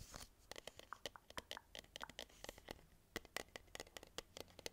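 Fingernails scratch and tap the green printed paper label of a medium cylindrical metal tin can held in both hands. Around 27 quick, quiet taps mix with papery scratching, each crisp and bright with a dry click and almost no ring.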